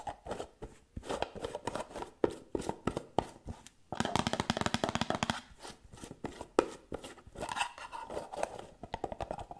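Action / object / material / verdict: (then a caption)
tap / small cosmetic jar with a metal lid / metal / none. Long painted nails quickly tap the top of the gold metal lid on a small round white cosmetic jar held in one hand. The result is fast, dense bursts of dry, clicky taps with almost no ring, centered in the mid range, with a few sharper, louder accents standing out.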